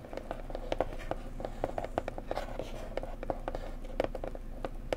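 A pretty blue decorative box is tapped gently up close with fingertips in a quick, irregular run of soft taps. Each tap gives a short, hollow knock with a mid-pitched tone that dies away almost at once, over a steady low background hum.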